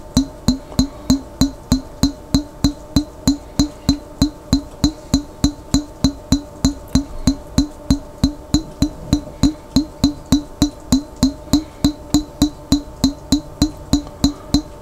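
Fingertips tap steadily on a large clear glass pickle jar with a lid, held sideways and partly filled with water. About 49 short, hollow, low-pitched knocks come at a quick, even pace, each dying away almost at once, with a faint bright click on top of each one.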